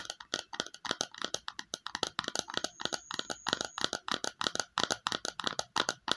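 Long nails tap rapidly on a small, empty, hollow red plastic bowl, its inside facing outward, making a quick run of light, bright clicks. Each tap is dry and ends almost at once with no ring, and a faint high tone hangs briefly partway through.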